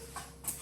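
A freshly baked sourdough loaf, just out of the pan after 45 minutes at 450, is tapped on the bottom, producing short, dull, hollow knocks over a low steady background hum. The hollow sound shows the bread is baked through and done.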